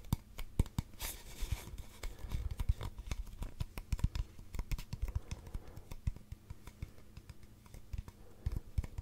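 Fingernails scratch and tap along the side of a long, hollow brown cardboard tube held upright. A steady scratching texture is broken by many quick, dull, low taps that die away almost instantly, with occasional brighter crisp clicks.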